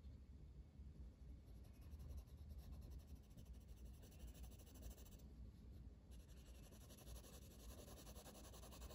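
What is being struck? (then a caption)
Paper coloring book page rubbed with a wooden colored pencil. A blue wooden colored pencil, held in the fingers, shades a flat paper coloring book page lying on a table, its lead rubbing and scratching across the paper. The clip is a quiet, steady stream of soft, rapid scratchy strokes over a low background hum, with the brighter scratch texture briefly dropping away around the fifth second before resuming.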